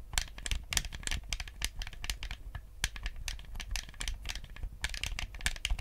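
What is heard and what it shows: Fingertips tap and click the buttons of a white, hollow plastic Nintendo GameCube controller held in both hands. The result is a rapid, irregular stream of short, dry plastic clicks with bright, crisp tops that stop almost instantly, over a faint low hum.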